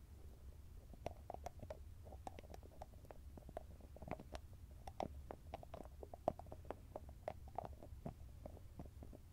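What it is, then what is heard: Cream jar with metal lid. Fingertips and nails tap and scratch the top of the shiny metallic lid on a small round grey cosmetic cream jar. The result is a quiet, irregular run of quick, dry clicks, each with a faint metallic ping near 640 Hz that dies away almost at once. A steady low rumble sits underneath throughout.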